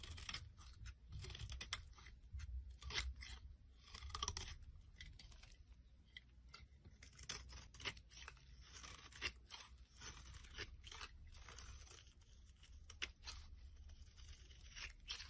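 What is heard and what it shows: A metal blade scrapes a solid purple oval bar of soap held in the palm, carving off curled shavings. Quiet, crisp scraping and crunching strokes come in irregular bursts, bright and dry with almost no ring, over a low steady hum.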